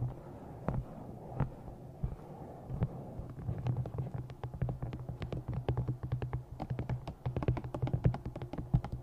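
Long nails tap the top edge of a thick black glossy paperback novel and scratch its cover. A few spaced, dull taps over a soft scratching hiss give way to rapid, uneven clusters of short, low, muffled knocks with brief bright clicks, each dying away almost instantly.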